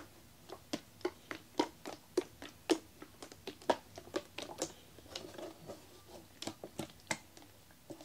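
A blue plastic Harpic toilet cleaner bottle with a red nozzle, hollow and holding liquid, is held in both hands and shaken while the fingers handle it. The result is a quick, uneven run of short, sharp plastic clicks and taps with soft sloshing between them, centred in the midrange with bright edges. Each sound dies away almost at once against a quiet background.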